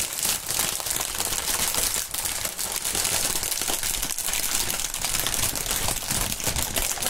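A long strip of clear, printed polyethylene air-cushion packaging film (air pillow film) is stretched and crinkled between the fingers. It gives a dense, continuous, bright crackle and crinkle that stays at a fairly steady level throughout, with only brief dips.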